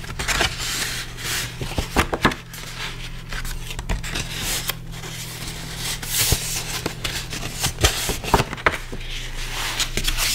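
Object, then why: Folded cardstock card. Fingertips rub and press along a thin, flat folded sheet of red cardstock lying on a wooden table, working along its fold while other card sheets and a pink brush sit nearby untouched. Soft, bright papery scraping and rustling is broken by frequent crisp taps and crinkles from the fold. A steady low hum runs underneath throughout.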